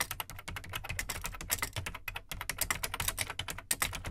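Fingertips type steadily on the plastic keycaps of an Amstrad CPC 464 home computer, which has a large, hollow black plastic case. The result is a rapid stream of short, dry, bright clicks and clacks with almost no ring. A faint low hollow thump sits under each press, with a brief pause near the middle.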